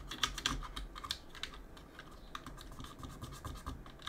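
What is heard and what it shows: Gloved fingers holding a cotton swab clean around the plastic keycaps of a backlit mechanical keyboard and press the keys. Sharp, bright clicks centered around 3.5 kHz stand out over a soft, steady scratching and rubbing. Each click dies away almost instantly.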